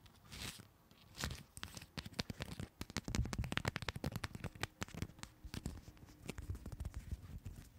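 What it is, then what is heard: Paper playing cards. Long two-tone nails tap and scratch across a fanned deck of coated paper playing cards. The result is a quiet, uneven stream of crisp clicks and papery scratching, with short sharp ticks over a soft low rustle and bright crackle on top.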